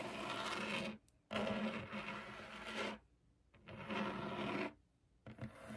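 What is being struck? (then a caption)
Laminated desk top. Long acrylic nails scratch across a flat, solid white laminated desk top while the fingertips rest on it. The result is a dry, raspy, broadband scraping with a bright hiss and a faint steady tone near 210 Hz, heard as long strokes broken by short silent pauses.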